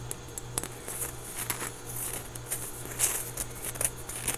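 A small, solid, soft orange foam stress ball with a basketball pattern is held close and squeezed and scratched with fingertips and nails. Quick, bright, crackly scratches and soft rustles come in uneven bursts over a steady low hum.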